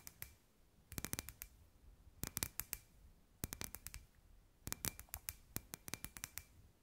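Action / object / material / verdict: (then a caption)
tap / hollow clear glass sphere tapped with fingernails / glass / none. Long white nails tap and scratch a hand-sized, hollow, clear glass ball lamp with fairy lights inside. Quick bursts of sharp, bright clicks come in four clusters separated by short quiet gaps. Each tap dies away almost at once, leaving only a faint glassy ring.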